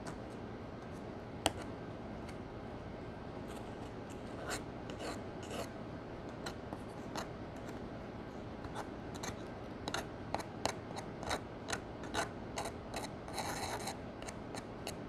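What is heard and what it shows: A small metal spatula, held by a hand with long nails, scrapes and crushes one round pan of pressed powder eyeshadow in a gold cardboard palette. Dry, gritty rasping and soft crumbling fill the clip, with a sharp click early on and a run of short, bright scratches toward the end over a steady low hiss. The pan is broken down into crumbly powder.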